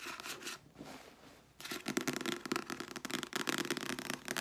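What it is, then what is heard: Paperback book. Long nails quickly scratch and tap over the glossy paper cover and spine of a small, solid red paperback novel held upright in both hands. A rapid, crisp, bright patter runs throughout, dipping to a softer, quieter scratching for about a second before returning louder and denser to the end.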